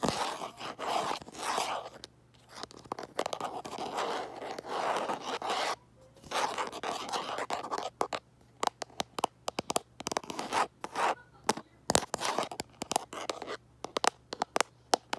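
Fingers tap and scratch the back of a smartphone in a light plastic case, seen in a mirror. Long, dry scratching passes with a broad midrange hiss alternate with bursts of crisp, rapid taps that grow more frequent and sharper toward the end. A faint steady hum sits underneath throughout.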